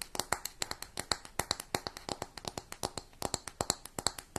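Long nails tap and scratch the brown textured lid and gold metal band of a closed round makeup compact. About 33 quick, crisp clicks follow one another steadily over four seconds. Each click is bright and dry, with almost no ring and very little low end.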